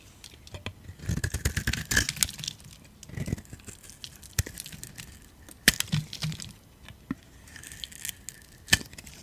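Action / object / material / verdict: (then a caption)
scrape / bar of soap scraped with a metal blade / soap / none. A metal utility blade scrapes crunchy curls off a solid yellow-orange dry soap bar held in the palm. Bursts of dry, crackling scrapes with sharp high clicks come and go between quiet gaps, with a faint bright tone near 1.8 kHz running under the louder passes.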